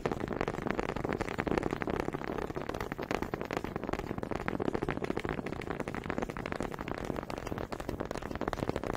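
Two small solid wooden honey dippers with grooved heads, held in both hands with long red nails, are knocked and rubbed together in front of a microphone. The result is a dense, steady stream of quick woody taps and scraping clicks, warm in the midrange and continuing without pause.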